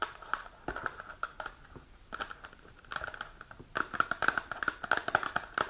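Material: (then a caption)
Cardboard. Long nails tap and scratch the top and front of a small printed cardboard supplement box held upright. Quick, dry, papery taps with a hollow mid-toned knock are mixed with soft crinkly scratching. The tapping starts sparse, then turns denser and louder toward the end.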